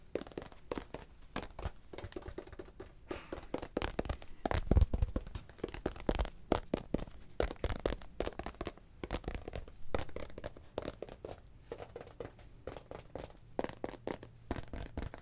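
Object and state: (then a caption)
Tingly cube tapped with sticky fingers. A tingly cube is tapped with sticky fingers in a rapid, irregular stream of short, dry taps and crackly sticky releases. The taps are close and mostly low-pitched. Each one dies away almost instantly.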